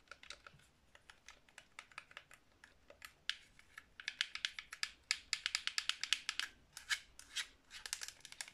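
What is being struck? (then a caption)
Plastic game controller. Long nails tap quickly on the shell and buttons of a hollow black plastic Xbox 360 controller held in both hands. The sharp, bright clicks start sparse and quiet, then grow denser and louder about halfway through, with each tap dying away almost instantly.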